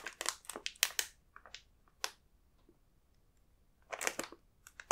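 A fingertip taps and presses on the printed biscuits on the glossy film of a large plastic snack bag full of inner packs. This makes bright, crisp crinkles in short bursts, clustered at the start and near the end, with a quiet stretch in between.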